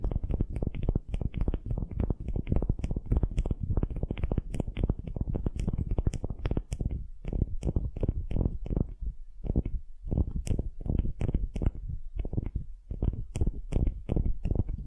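Long glittery nails scratch a solid wooden ball held in both hands. The result is a dense, steady stream of rapid scratching strokes, heavy in low rumbling tones with faint bright ticks on top. A few brief pauses break up the strokes.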